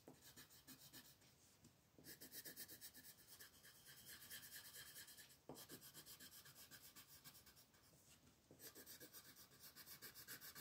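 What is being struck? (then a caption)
Colored pencil on a paper sheet. A turquoise wooden colored pencil rubs over a thin white paper mandala sheet lying flat on a table in short shading strokes. The result is a bright, scratchy rasp that pulses at about four strokes per second, in bursts that briefly change character around 2, 5.5 and 8.6 seconds.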